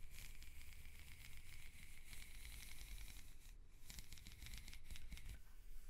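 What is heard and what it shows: Fingers with long nails scratch and slide along the ribs of a black, ribbed, hollow plastic corrugated hose held upright. The result is a continuous dry, raspy ratcheting with bright, crackly ticks, a steady tone near 2 kHz and a low rumble underneath. It briefly thins out just past the midpoint.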